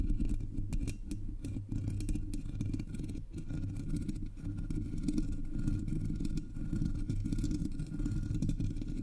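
Long polished nails tap and scratch across the hollow black metal mesh grille of a Blue Yeti microphone. The result is a steady, dense stream of rough scratching and soft tapping, heavy and muffled in the low end with little brightness.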